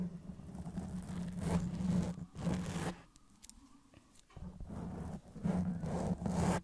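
Long press-on nails on both hands scratch and rub the soft, porous black foam cover on a Blue Yeti microphone head. Loud, scratchy rubbing comes in several long bursts with a heavy low rumble and hum. A quieter stretch of lighter scrapes and faint taps falls in the middle before the rubbing picks up again.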